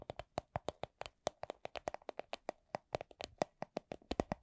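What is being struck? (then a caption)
Small clear plastic coin purse. A small, hollow, transparent plastic coin purse with a bunny print is tapped with nails and fingertips, giving 29 quick, dry taps at an uneven slow-to-medium pace. Each tap is a short, hollow plastic knock with a brief bright click on top and almost no ring, some landing louder than others.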